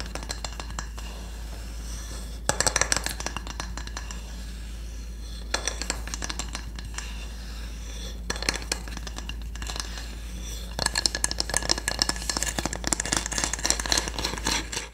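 A solid, flat wooden cooking spatula is tapped and scratched with long nails. The result is bursts of crisp, dry clicks and scratchy, bright rasping over a steady low hum. Quieter stretches separate the bursts, and the tapping gets denser toward the end.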